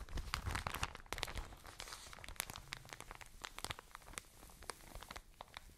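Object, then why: Soft plastic bag of cotton wool. A full, medium-size soft plastic package of cotton wool is held near the mic and squeezed and crinkled with long nails and fingertips. Dense, crisp crackles and sharp bright snaps ride over a soft low rustling thump from the handling, with some louder pops and squeezes. The crinkling carries on steadily for the whole clip.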